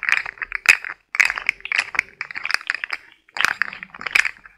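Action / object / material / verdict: shake / plastic articulated fidget toy / plastic / none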